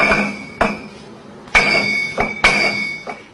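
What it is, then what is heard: Gold bullion bar ringing like crystal. One-kilogram gold ingots of genuine French reserve gold are knocked together in the Banque de France vault. Five bright, crystal-like clinks each ring with a sustained high tone near 2.2 kHz that fades within about half a second. The bars ring clearly, like crystal.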